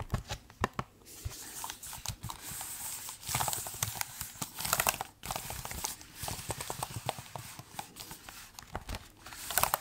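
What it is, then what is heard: Laptop keyboard with plastic keys. Fingertips tap on the plastic keys and body of a silver laptop held in the hands. Irregular soft clicks and taps run throughout with a bright, crisp texture, some louder, sharper taps standing out and brief dull scratchy rustles in between.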